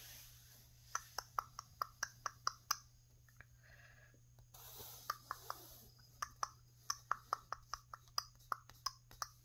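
Fingertips and long painted nails tap and scratch a flat painted canvas panel with a bunny painting on it, its thin surface stretched over a frame. Sharp, dry taps ring with a bright tone around 1.3 kHz, broken by a few soft scratching passes, over a steady low hum.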